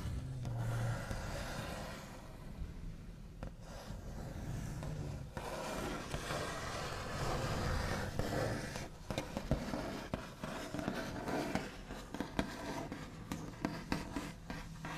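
The backs of long nails tap and trace across a flat, solid wooden tabletop with a white finish. Short, dull taps with almost no ring sound over a continuous scratchy rubbing. The rhythm is quick but irregular, and most of the sound sits low, with little bright content.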